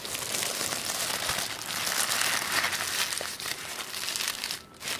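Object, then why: Sheet of tissue paper. A creased sheet of black tissue paper on a wooden table is smoothed and rubbed with flat fingertips, producing steady, bright crinkling and rustling. The sound holds fairly even throughout, with a brief quiet dip near the end before the crinkling resumes.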